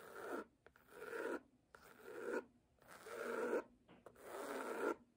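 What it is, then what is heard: Cloth-covered hardcover book. Long nails scratch and tap the cover of a solid red cloth-bound hardcover book lying flat. They make repeated soft, rasping strokes that swell and fade in a slow, uneven rhythm, with a dry midrange tone and no low end.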